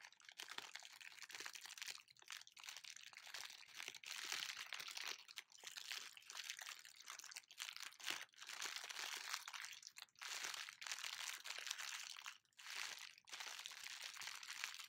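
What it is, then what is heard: Plastic bag being crumpled. A thin, empty clear plastic bag with black printed lettering is held up in both hands and crumpled and crinkled with the fingers. The crackling is dense, bright and quiet, with almost no low end, running nearly continuously with a few brief pauses over the fifteen seconds.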